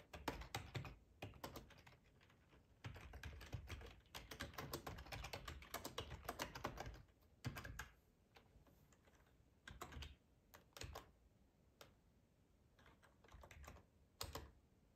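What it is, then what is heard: Plastic computer keyboard. Fingertips with short nails type on a hollow, black plastic ergonomic split keyboard resting on a plaid tablecloth. Quick, irregular bursts of clicky keystrokes with a low, thuddy body alternate with short pauses and a few isolated taps. Each click dies away almost at once.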